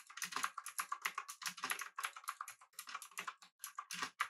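Both hands type rapidly with their fingertips on a pink backlit mechanical keyboard with an aluminum body and round plastic keycaps. About 29 short, crisp keystrokes click out in quick, uneven bursts, each with a bright, clacky tone centered around 1.2 kHz and very little low end. Every click stops almost instantly.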